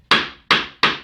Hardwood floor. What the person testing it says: When the floor is damaged or rotten, the sound is a little bit damp and it's a little bit hollow